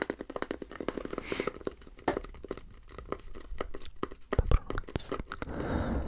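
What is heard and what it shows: Fingernails scratch and tap the curved underside of a light, empty turned wooden bowl held at an angle, running over its turned rings. Rapid dry clicks and crackly scratches come in quick uneven bursts, each dying almost at once, with one brief bright swish early on and a soft continuous scrape at the end.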